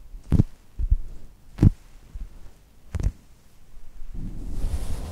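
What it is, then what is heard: Foam squishy toy pressed and scratched. Long nails press a flat brown polyurethane foam chocolate toast squishy held between two mics, giving four soft, low, muffled thumps with quiet gaps between them. It ends in a steady scratching rustle across its textured surface, with a faint bright hiss.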